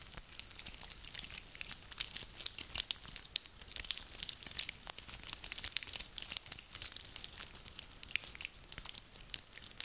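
A handful of small, dry, woody pine cones is crunched and rubbed together between hands. A steady stream of quiet, dense, bright crackles and crinkling clicks continues throughout, with almost no low end and each snap dying away instantly.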